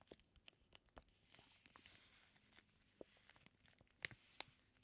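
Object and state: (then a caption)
Plastic-wrapped bacon package. Fingertips rub and press the clear plastic wrap on a flat, sealed package of raw bacon slices. Soft, bright crinkling and rustling run through the clip, punctuated by irregular sharp taps and crackles, with a few louder clicks near the end.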